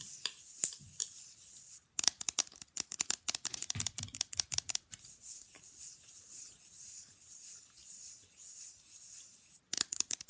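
Long fingernails rapidly tap and scratch the face of a small, rigid, flat printed rectangular picture fridge magnet held upright in one hand. Fast, crisp, high-pitched clicks come in dense bursts, easing into a stretch of softer, steady scratching before sharp tapping returns at the end.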